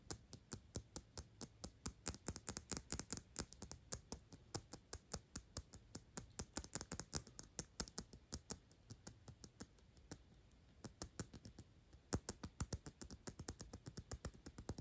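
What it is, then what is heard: Thick glass perfume bottle filled with liquid. A dark glass perfume bottle with a thick solid glass base and sides, filled with liquid and turned over, is tapped quickly with long pink nails. About 80 crisp, bright clicks with a low thud beneath them come in rapid runs with brief pauses, each dying away almost instantly.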